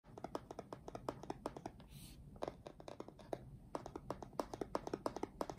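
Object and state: Cardboard keyboard box.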